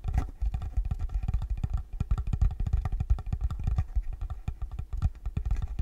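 Fingertips and nails tap steadily on the top of a small, rectangular, dark wooden block or box, possibly hollow, held in front of the microphone. Each tap gives a short, deep, bass-heavy thud that dies away almost at once, with a faint clicky edge from the nails. The taps run together into a continuous low, knocking patter.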